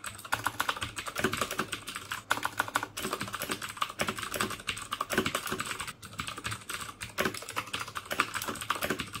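Fingertips type steadily on the keycaps of a black plastic mechanical keyboard with clicky Cherry MX Blue switches. Rapid, crisp clicks come in dense bursts with a bright, sharp edge and almost no ring, broken by a few brief pauses.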